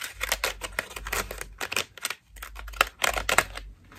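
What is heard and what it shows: Long nails scratch and tap the ruffled petals of a fist-sized cream foam loofah with a white rope loop, held in both hands. The sound is a dense run of dry, bright, crackly scratches and quick taps that die away almost instantly. The bursts come in clusters with a short pause near the middle, over a faint low hum.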